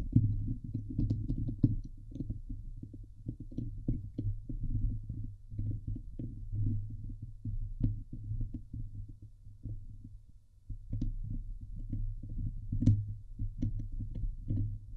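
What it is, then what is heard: Metal mesh microphone grille being scratched. Fingernails scratch the sides of the hollow steel wire-mesh grille on a Blue Yeti microphone head. This produces a dense, low, rumbling scrape made of rapid uneven strokes, with occasional sharper bright ticks. The scratching eases briefly around the ten-second mark, then resumes at the same steady intensity.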